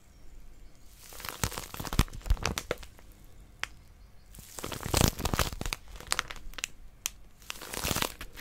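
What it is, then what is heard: Crinkly plastic-wrapped paper packet. Long nails grip, squeeze and scratch the crinkly wrapper of a small white plastic-wrapped paper packet with a pink outline. Bursts of dense crinkling and sharp bright crackles come in waves, with quieter scratchy stretches between them.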